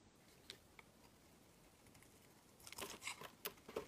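A small, solid, blue translucent glycerin soap bar is held in the hand and shaved with a utility knife blade, scraping and carving so flakes fall off. A few faint, bright ticks come through a quiet background at first, then the carving turns into a denser run of crisp, crackly scrapes and clicks with lots of high-end bite.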